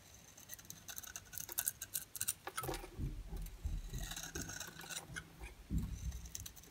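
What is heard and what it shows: A hand-sized oval bar of dry, solid soap with a yellow interior and a black ridged outer layer, held in the palm, is scraped and shaved with a metal utility-knife blade, producing yellow flakes. Many quick, dry, crisp scraping strokes are heard with bright high hiss, mixed with soft low thuds from handling. Each stroke ends almost instantly with no ring.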